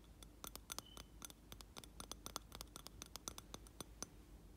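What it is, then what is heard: Glass candle jar. Fingernails scratch and tap the rim and side of a round glass jar filled with wax, with a lit candle inside. The result is a quick, uneven run of sharp, bright clicks that stop almost instantly, over a faint low hum.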